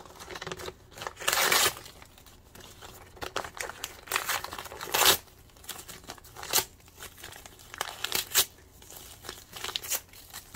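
A colourful glossy printed brochure is held in both hands while the fingertips tear and crumple its paper. Bright, crisp rips and crackling crinkles come in uneven bursts, with a long tear early on and sharp loud rips around the middle and near the end. Softer rustling fills the gaps, and there is almost no low end.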